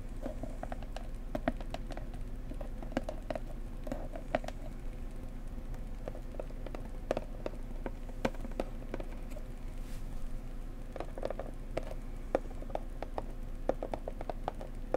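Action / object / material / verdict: tap / cardboard box / cardboard / none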